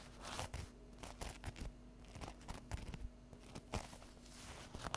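Long acrylic fingernails scratch and tap along the edges and top of an unwrapped stack of folded, euro-printed paper napkins lying on a table. The result is a quiet, irregular series of short, dry papery crackles and soft taps, with brief rustling scratches between them. A faint steady low hum runs underneath.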